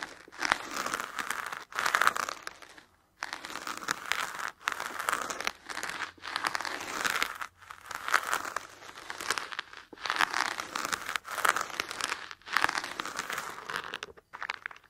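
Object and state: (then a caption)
Foam block. Long fingernails scratch and tap the surface of a solid black foam block with a triangle-shaped top corner. Dry, crinkly scratching comes in steady bursts centered in the midrange with bright edges, broken up by brief silences.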